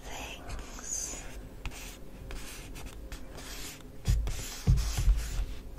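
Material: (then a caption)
Paper. Fingertips and short natural nails tap and scratch the flat paper side of a medium, hollow, green printed paper shopping bag from The Body Shop reading "Good Things Inside," held upright on a table beside an untouched magazine. Soft, dry papery scratching and rubbing continue throughout, broken by a few louder, dull, hollow thumps toward the end.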